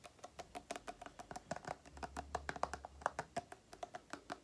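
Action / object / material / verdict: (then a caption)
tap / plastic cream tube / plastic / none. Long nails tap rapidly on a small, printed green-and-white plastic Aloe cream tube with a green cap, making about 29 quick, dry clicks. Each tap is short, with a hollow plastic tone around 720 Hz and a brief bright edge that dies away almost instantly. The taps come in a steady, fast patter, a few landing harder than the rest.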